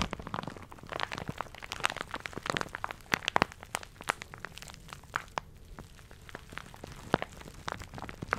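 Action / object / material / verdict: scrape / thin plastic shower cap / plastic / none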